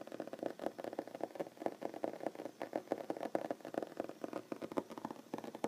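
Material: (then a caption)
Wood. Short fingernails on both hands tap rapidly on a large solid wooden tabletop. The clicks are quick, dry and mid-pitched, centred around 550 Hz. Each one dies away almost instantly in a busy, uneven patter.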